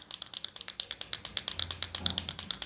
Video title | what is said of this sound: How to make paint pens start, make ink flow out and write ? Simple Tutorial | When you shake it, you'll be able to hear that sound. That's going to help the inkflow